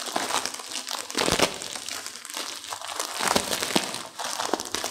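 Both hands with long nails crush and squeeze a small, partly broken-up instant noodle pack in its plastic wrapper. Dense, bright crinkling of the plastic runs throughout, with sharper crunching bursts as the noodles inside break, and almost no low end.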